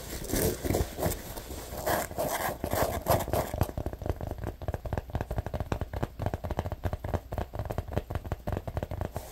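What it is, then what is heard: Neoprene lunch bag. Short nails scratch along the stitched top edge of an orange neoprene lunch bag in close-up. A dense, rough scratching fills the first few seconds with fuller midrange bursts, then turns into a quicker, thinner stream of dry ticking scrapes.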